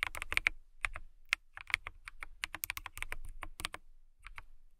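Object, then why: Clear plastic mechanical keyboard. Fingertips with long nails type continuously on a clear plastic mechanical keyboard. A rapid run of sharp, bright key clicks with soft low thumps underneath, each dying out almost instantly, peaking around 2.2 kHz with brief pauses between bursts.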